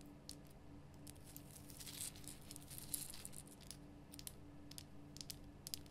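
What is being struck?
Rock salt lamp block.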